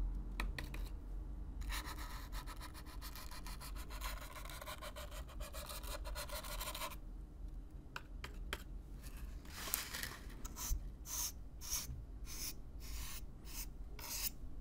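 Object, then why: Corrugated cardboard box. A stiff black-bristle brush is brushed close-up across the surface of a hollow, brown corrugated cardboard box. A long, steady, bright scratching rasp gives way to a series of shorter, separate brush strokes, over a low rumble.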